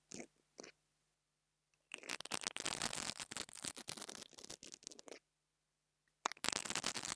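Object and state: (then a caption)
Small microphone grille scratched with bristles. The bristles of an interdental brush scratch across the metal grille on top of a small black plastic mini lavalier microphone. Two brief scrapes are followed by a pause, then a long run of dense, bright, crackling scratches. After another short silence, the scratching resumes.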